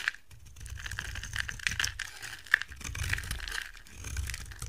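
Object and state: Soap bar being shaved.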